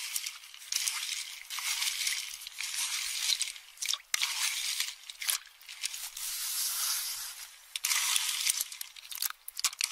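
A metal spoon stirs and crushes empty pistachio shells in a small hand-held metal bowl full of them. Dense, bright crunching and scraping comes in uneven bursts with short quieter gaps. There is almost no low end, and a few sharp clinks stand out.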